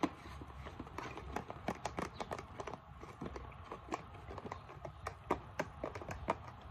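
Long nails tap the label and the base of a plastic isopropyl alcohol bottle as it is turned in the hands. The result is a quick, uneven run of short, dry clicks with bright edges and almost no ring, over a soft low rumble and faint handling rustle.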